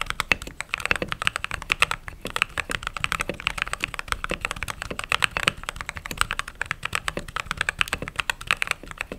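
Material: Plastic.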